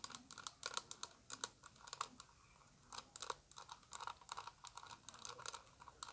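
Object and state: Plastic eyeshadow palette.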